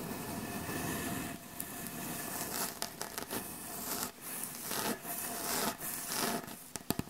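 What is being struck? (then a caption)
Wooden butcher block board. Long acrylic nail tips of both hands tap and lightly rub across the surface of a solid, light wooden butcher block board. Steady dry scratchy rubbing runs throughout, broken by sharp, bright clicks from the tapping nails. The clicks are denser near the end.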